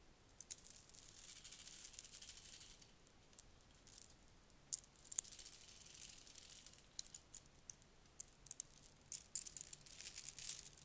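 A long strand of shiny red plastic beads is dangled and lowered into a cupped hand, and the beads pile up with a quiet, bright clacking and rattling. The many short, sharp clicks come in bursts over a soft hiss and stop almost instantly, with no ring.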